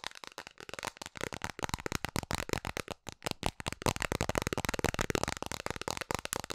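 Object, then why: Round plastic container lid. Long nails tap rapidly on a round, hollow blue plastic container lid held in both hands. The result is a fast, uneven stream of sharp, dry clicks with a hollow plastic knock and almost no ring.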